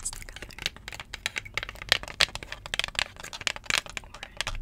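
A thin, solid 7-inch vinyl record, held in both hands, is tapped and scratched with long jeweled acrylic nails. The result is a rapid, irregular stream of sharp, bright clicks and scratchy rasps, each dying away instantly with no ring and almost no low end.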